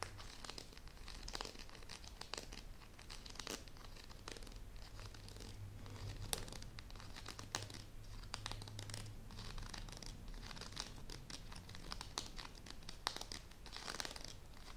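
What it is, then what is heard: Closed bamboo and paper folding fan. A closed folding fan with bamboo ribs and a paper leaf, held in both hands, has its stacked edge scratched and tapped with long nails. The result is a steady stream of dry, crinkly scratches and small clicks with bright, papery upper edges and a low hum underneath.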